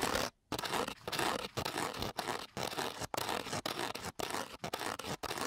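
A metal key, held by its green head, is scratched across the gritty surface of a flat coarse-grit sandpaper sheet. The result is a run of harsh, bright, broadband rasping strokes in an irregular rhythm, separated by brief silent pauses.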